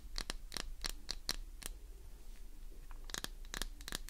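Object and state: Glycerin soap bar being scratched.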